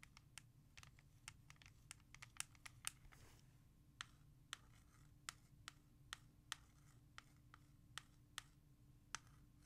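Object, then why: Plastic CD jewel case. Long nails tap fast on a hollow plastic CD jewel case (R.E.M. *Out of Time*) held in the hand and trace its letters. Sharp, bright, dry clicks stop instantly with no ring, mixed with soft scratching. A steady low hum runs underneath at a quiet overall level.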